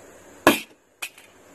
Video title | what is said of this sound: KCI Product Review Package Unboxing. | hits pretty hard because it's heavy. And you can hear the spring rattling when you dropped it, but didn't fly apart